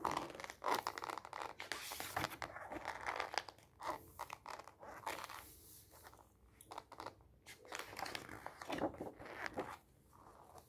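Fingertips press the cover of a white-covered glossy paper magazine flat on a stack, then lift and flip its glossy pages so they rub and flap. Crisp, papery swishes and crinkling rustles come in quick bursts, with bright, airy edges and short flaps of turning pages between quieter gaps.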